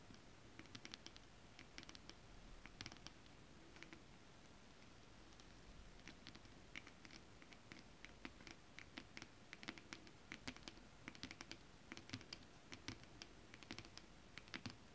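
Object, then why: Holographic scale-printed fabric. Long acrylic nail tips on both hands tap rapidly on flat holographic mermaid scale-printed fabric. Quiet, crisp clicks with a bright high edge come in quick clustered bursts separated by short pauses, over a soft, low rustling hush.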